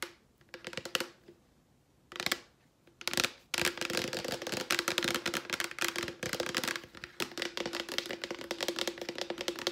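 A hollow Clorox plastic disinfecting wipes canister is tapped and scratched with long nails. Short bursts of clicky tapping give way to dense, continuous rapid tapping and scratching. The sound is bright, with a faint hollow ring underneath.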